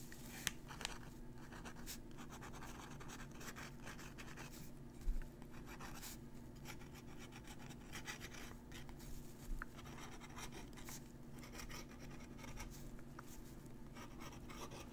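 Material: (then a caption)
Paper. A steel dip-pen nib scratches across a crumpled thin paper letter on a table while writing, the sheet steadied by a finger. Quiet, continuous scratchy strokes and crinkles run throughout over a steady low hum, with a few brief louder ticks.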